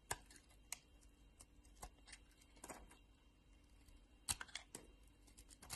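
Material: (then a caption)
Soap. A solid pink bar of soap, partly carved and held in the hand, is scraped and shaved with a metal craft-knife blade. The result is a series of short, crisp, bright scraping clicks with faint shaving rasps between them, all quiet against a soft background hiss.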